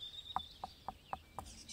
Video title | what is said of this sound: HOW TO PRUNE AN OLIVE TREE | if you tap it you can hear that very dead sound